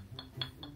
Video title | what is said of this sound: DUMATING NA ANG MGA ORDER PARA SA ATING AIRBNB! NAME & LOGO REVEAL - AustriaFamilyVlogs | Hindi siya plastic.